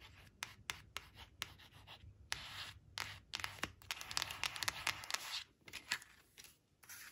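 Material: Cardstock.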